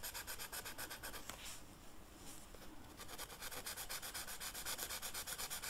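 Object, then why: Felt-tip marker on velvet-flocked paper sheet. A dark red marker's felt tip rubs across a flat black velvet-flocked paper sheet in coloring strokes. It makes a soft, steady scratchy brushing with a bright, hissy texture, pulsing in quick back-and-forth strokes. The strokes pause briefly into a quieter stretch before resuming.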